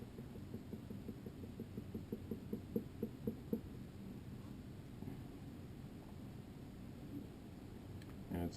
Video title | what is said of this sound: Trimming Basics | tap it and it's kind of a thud sound so i've got a little bit more clay to work with in there